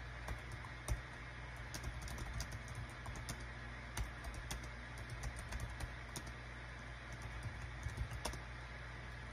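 Rapid fingertip typing with both hands on a small green-and-white plastic Dong Guan KPH-030 wireless Bluetooth keyboard with a built-in touchpad, its hollow thin body lying flat on a desk mat. Quick, light, clicky key presses tap out over a steady low hum, with about a dozen sharper clacks standing out from the patter.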